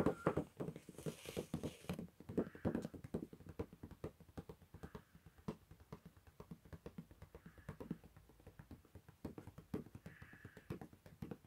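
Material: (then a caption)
Paper. A hand taps and lightly scratches with its fingertips on the white paper page of an open sketchbook lying flat, the page covered in handwriting and a crayon drawing. Quick, soft, dry taps with almost no ring follow one another steadily throughout, mixed with faint brushing scratches.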